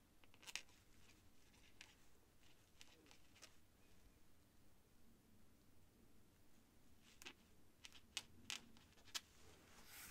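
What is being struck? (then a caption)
Feather quill on a paper sheet. The tip of a white feather quill scratches across a thin cream paper sheet resting on a desk in writing strokes. Quiet, bright, scratchy bursts come and go over a faint low background hiss, with a few sharper strokes standing out near the end.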